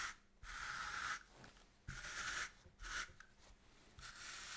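A small bristle brush is stroked repeatedly across black-and-white grid woven cotton fabric lying flat on a table, while the other hand holds the cloth steady. Each stroke makes a soft, bright, hissing scratch, separated by quiet pauses.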